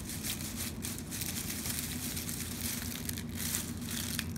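A large, red, shiny metallic foil curling-ribbon bow is held in both hands and squeezed and crinkled with the fingers. It makes a steady, dense crinkling and crackling with bright, high rustle over a constant low hum throughout.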